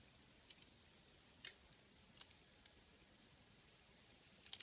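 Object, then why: Glitter-coated soap bar. A metal blade carves and scrapes the colorful glitter-and-sequin coating off a solid oval soap bar with a cream inside, held in the hand. The sound is quiet and bright: faint, sparse scratchy ticks and crackles over a soft hiss, growing denser and louder into a crisp scraping flurry at the end.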